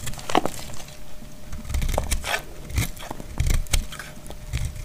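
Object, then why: Glycerin soap bar cut with a knife blade. A solid piece of translucent green glycerin soap, held in hand, is scraped and cut with a utility knife blade. Dry, crackly scrapes and short crunchy cuts come in irregular bursts, with weight in the low end and a faint steady tone underneath.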